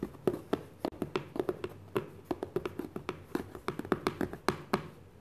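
A medium white cardboard book box, hollow and sitting inside an opened brown shipping carton, is tapped and scratched with fingertips and short nails. About 28 quick, dry taps follow one another with a hollow, mid-pitched knock around 370 Hz, and faint scratchy rustling fills the gaps. Each tap dies away almost at once.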